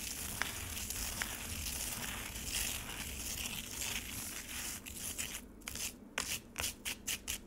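Fingertips and long nails rake and scratch across scraped frozen lemonade with icy chunks in a black plastic tray. A steady, bright, crunchy scraping runs throughout, broken by a couple of sharp clicks early on. Toward the end it turns into a quicker rhythm of separate gritty strokes.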